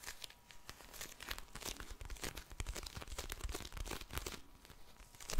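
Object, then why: Plastic gel bead eye mask. A pink plastic gel bead eye mask is squeezed and tapped by long-nailed fingers close to the microphone. Dense, crinkly crackles and soft taps run continuously, with bright plastic clicks over a low, muffled thump from the gel beads.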